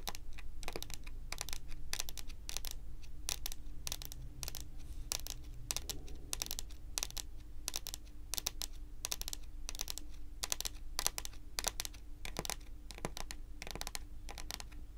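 Long pointed acrylic nail tips on both hands tap rapidly across a large, solid, glossy dark brown wooden table top. The result is a steady stream of short, sharp, bright clicks that die away almost instantly, over a constant low hum.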